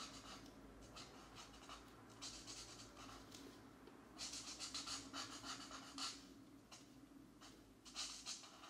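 A black marker's fine nib scratches across a paper coloring book page lying flat on a desk mat, coloring small areas while the left hand steadies the page. Quiet, bright, papery scratching runs throughout in quick, irregular strokes, with louder bursts of rubbing in the second half over a faint low hum.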